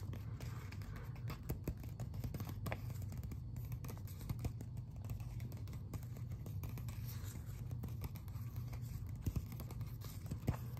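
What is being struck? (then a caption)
Glossy paper magazine cover. Fingertips and nails scratch and tap the glossy front cover of a closed Biblical Archaeology Review magazine held in both hands. Soft, dry scratching runs throughout, with light taps scattered over a steady low hum.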